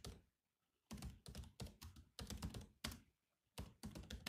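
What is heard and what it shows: Fingertips type slowly on the black plastic keys of a grey laptop's keyboard. Bursts of soft, low thunks with bright clicks are separated by brief quiet pauses, and each keystroke stops almost at once.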